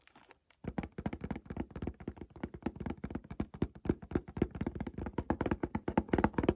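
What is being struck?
Small cardboard box with a bottle inside, plastic-wrapped.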